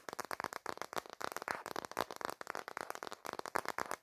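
Fingertips and dark nails quickly tap and scratch the back of a smartphone in a black plastic case held in landscape. The result is a dense, rapid run of dry, clicky plastic taps with a mid-pitched tone around 930 Hz. Each tap dies away almost instantly, with light scraping between the hits.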